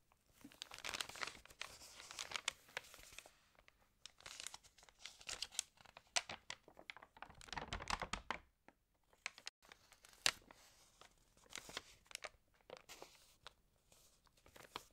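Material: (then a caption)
Paper. Long-nailed fingertips rub the pages of an open, water-damaged glossy-paper magazine and flip one over, making dry, bright crinkling and rustling with tearing-like edges. The sound comes in uneven bursts of scratchy paper noise, with a brief near-silent pause around the middle, all quiet and close.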